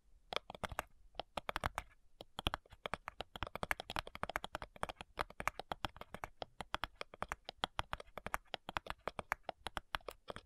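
Long nails tap and scratch along the front side edge of a flat, hollow cigar box made of light wood. Quick, dry clicks with almost no ring run in an irregular, rapid stream for about ten seconds. The clicks are quiet and crisp, with a bright top and a faint hollow low thump.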